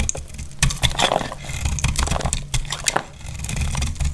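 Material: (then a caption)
Soap. A solid, dry, dark brown bar of soap held in the hand is cut and shaved with a metal utility knife blade, and crumbly curls fall off. Dry, crisp scraping and crackling come in quick bursts, with bright snaps over a low, steady rumble.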